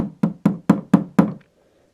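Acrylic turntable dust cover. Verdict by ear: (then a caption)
Non-resonant. A new acrylic turntable dust cover is tapped in a steady, evenly spaced series, each tap giving a dull, low knock that dies away almost at once with no ringing. The acrylic is non-resonant, unlike the old polystyrene cover.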